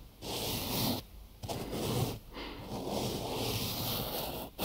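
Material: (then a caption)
Cotton gauze. A large rectangular binaural microphone wrapped in white cotton gauze bandage is touched, tapped and scratched with fingertips and short nails on its wrapped sides. Three long bursts of close, broadband fabric scratching and rubbing are separated by brief quiet gaps, with a dense low-mid rasp and a soft, airy high hiss.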